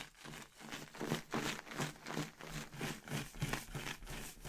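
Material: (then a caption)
Latex, paper. A clear inflated latex balloon filled with red and orange paper confetti is held by the knot in a hand with long red nails and shaken so the confetti rattles inside. It makes soft, papery rattling bursts in a fairly steady rhythm of about three per second, with a faint low hum underneath.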